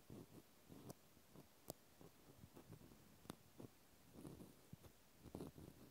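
A cotton swab tip scratches inside the hole of a pink plastic clothespin up close. Quiet, soft scratching and rustling is dry and low-weighted, broken by a few brief, bright plastic ticks that stop instantly.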